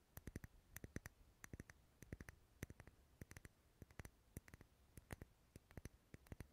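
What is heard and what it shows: A lit dark red solid wax pillar candle is tapped and scratched on its side with long nails. The result is a quiet, fast run of short, dry clicks and taps in irregular clusters, with a low thud under each tap and faint scratching between them.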